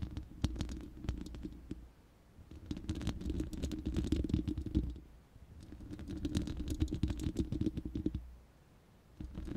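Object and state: Metal mesh microphone grille.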